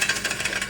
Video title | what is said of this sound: NEW MUFFLER on the snow blower | All that stuff in there